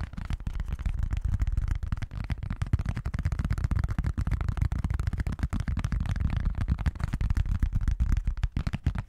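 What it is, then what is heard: Plastic lid. An orange plastic Pyrex lid, its Pyrex logo visible, is held in both hands and tapped and scratched with the fingertips and nails. The result is a dense, continuous stream of rapid, dull, low thumps with very short decay and almost no high end.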